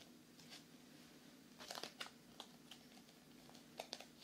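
A solid paperback book with a glossy card cover is held close to the microphone and tapped with fingernails, giving quiet, typing-like taps. Eleven short, dry, bright clicks come in loose clusters over a soft, steady background hiss, each dying away almost instantly.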